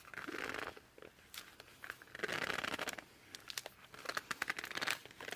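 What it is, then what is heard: Laminated cardboard board book. A laminated cardboard board book is held tilted and then flat while hands squeeze and rub its glossy cover and edges. The result is a run of dry squeaks, crinkly rubbing and sharp little clicks in bright midrange bursts, with almost no low end.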